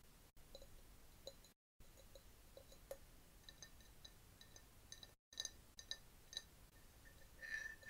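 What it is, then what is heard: Glass jar. Long nails tap a clear glass jar partly filled with yellowish liquid, with a bamboo straw standing inside. Light, bright clinks ring out in an irregular patter over a low hiss, with a few brief silent gaps. Near the end there is a short sustained ringing tone.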